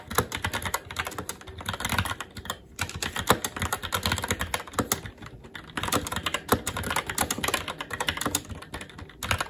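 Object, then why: Mechanical keyboard, plastic keycaps on metal plate. Fingertips of both hands type continuously on a SteelSeries Apex 7 TKL mechanical keyboard with red linear switches, black plastic keycaps and an aluminum plate. Rapid, short clacks follow one another in a steady stream, each with a bright click over a soft low thud and almost no ring. There are only brief dips between bursts.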